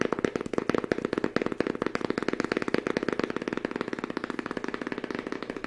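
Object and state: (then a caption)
Fabric-covered book. A small, thick book with a green fabric cover and cream page edges is held in both hands and tapped with the fingertips on its cover and spine. Rapid, uneven taps run throughout, each short and dry with no ring, and the tone is a muffled mid-range thud.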